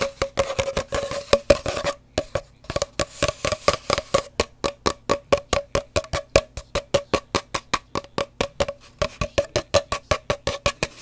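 A hollow cardboard paper towel roll is tapped and scratched quickly. It gives a rapid string of short, dry, hollow knocks with a woody tone near 570 Hz and almost no ring. There is a brief pause near the two-second mark, after which the tapping continues at an irregular pace.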